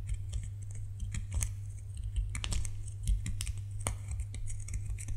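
A solid white bar of soap is scratched and scraped with fingernails, producing a run of crisp, dry scratching clicks and scrapes. The scratches sit over a steady low hum that dominates the clip.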